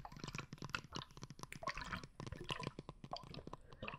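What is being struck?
Plastic bottle filled with liquid and glitter.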